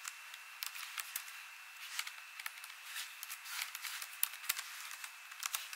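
A hand with long nails and rings types on an ASUS laptop keyboard with plastic keys, tapping the keys in a quick, uneven rhythm. The sound is quiet, bright, clicky taps with very short decay and no low end, over a soft hiss and a faint steady tone near 2.7 kHz.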